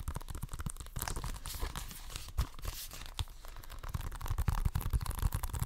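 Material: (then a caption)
Plastic. Fingernails scratch and tap the cover of a hollow plastic Xbox One game case with a green top strip. The result is a dense, irregular run of dry, crinkly scratches and quick taps, with soft low thumps beneath a bright, scratchy texture.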